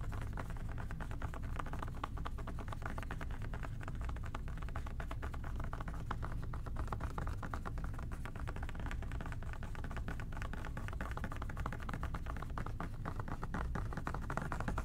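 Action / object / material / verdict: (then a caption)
tap / plastic spray bottle with trigger head / plastic / none. Fingertips tap rapidly on the body of an OxiClean plastic spray bottle with a trigger head. The result is a steady stream of soft, hollow, muffled taps, heavy in the low end with little brightness, holding an even level for the whole clip.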